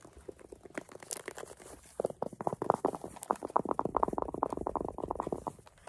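Long acrylic nails scratch and rub the fuzzy surface of a small, hollow green velvet zippered case. Rapid, dry, papery scratching strokes start soft for the first two seconds, then grow louder and denser with a hollow midrange tone. The strokes fade slightly at the end.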